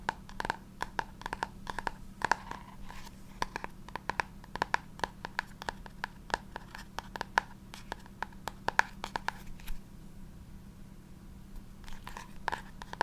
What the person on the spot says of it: this book makes the best sounds especially because the cover is textured and of course because it's hard cover